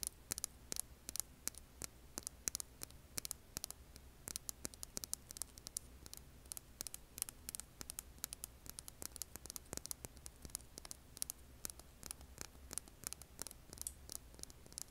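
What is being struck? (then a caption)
Hand-sized rough rock. Long painted nails scratch a hand-sized, solid rough rock held over an earbud microphone. A rapid, uneven stream of sharp, bright scratches and clicks cuts through a quiet, steady low hum and hiss. Each scrape dies away almost instantly.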